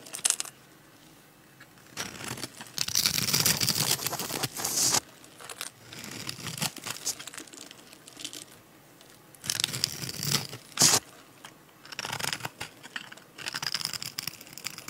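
A metal utility-knife blade scrapes across the scored grid of a solid, bright green, translucent dry soap bar, palm-sized and held in the hand, breaking off small crunchy cubes. Bursts of dry, bright crunching and scraping come in clusters separated by short quiet pauses, with sharp crackles at the peaks.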